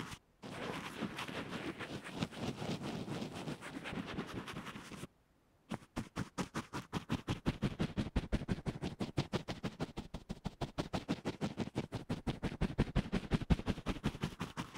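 An earphone microphone covered with a fabric band-aid on a table is brushed and pressed with a soft, fluffy black and white makeup brush. For the first five seconds there is dense, continuous, low, muffled scratching. After a brief silence come quick, separate thumping strokes, about three per second, that grow slightly louder toward the end.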